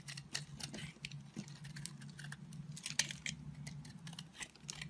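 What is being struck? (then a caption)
Bar of soap. A square blade cuts and scrapes crumbly flakes from an oval, solid blue marbled soap bar. It makes a quick series of short, bright, crisp scratches and ticks that die away almost instantly, over a steady low hum.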